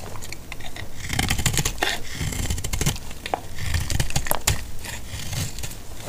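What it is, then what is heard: Dry soap bar being cut. A metal blade cuts a solid, dry, pale green antibacterial laundry soap bar into chunks and flakes. The result is a steady run of crisp, dry scraping crunches with sharp bright clicks over a dull low thud, each cut dying away almost at once.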